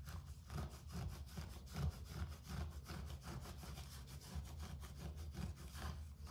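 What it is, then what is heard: Carpet. Fingertips and nails scratch across a low-pile grey carpet floor. A steady run of short rasping, brushing strokes rides over a heavy low rumble, with a faint bright hiss at the top.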